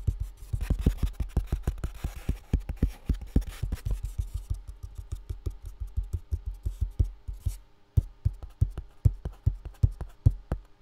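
A full box with contents inside is tapped rapidly and steadily, giving short, dull, low thumps with almost no ring. There is a brief pause near the eight-second mark before the tapping continues at the same pace.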